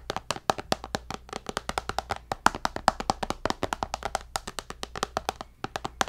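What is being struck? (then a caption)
Tablet with glass screen in a case. Fingernails tap on the glass screen of a white tablet held upright in a black case. About 46 sharp, dry clicks come in a quick, uneven run, each with a bright, hollow tone near 780 Hz that dies away almost instantly.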